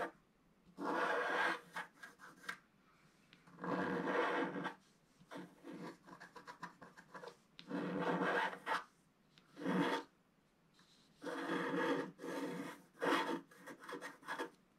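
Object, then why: Scratch art paper page with wooden stylus. A wooden stylus scratches wave lines into a black-coated scratch art page, about A4, lying solid and flat. The result is dry, raspy scratching strokes in bursts of broadband rustle, with short quick flicks between longer drawn strokes.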